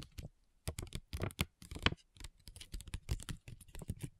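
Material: Plastic foil.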